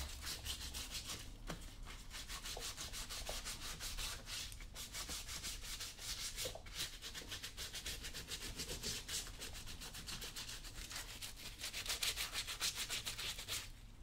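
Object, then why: Leather work boot. A cloth wrapped around the fingers rubs a brown leather work boot, worn on a foot with the foot inside, as it is cleaned and polished. Quick, steady back-and-forth strokes make a bright, hissy scrubbing sound, about three and a half strokes per second, over a faint low rumble. The rubbing grows slightly louder and more pronounced near the end.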